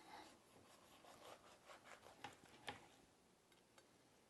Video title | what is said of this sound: Best Turkey Ever: Slow Roasted Turkey | you can hear how crispy this is